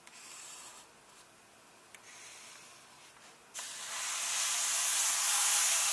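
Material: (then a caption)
Paper. Flat hands and fingertips rub across the paper pages of an open paperback illustrated book held on one illustrated spread, making a soft, airy brushing hiss with a couple of faint ticks. At about 3.5 seconds the rubbing turns into a louder, bright, papery hiss that swells and holds steady to the end.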